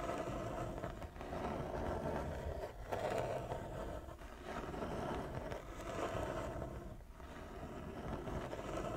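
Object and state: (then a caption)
Wooden chess board. Long nails slowly scratch across a large, flat wooden chess board with inlaid squares, using both hands. The result is a steady, dry rasping scrape with a mid-pitched hum around 670 Hz. It swells and eases in slow waves throughout.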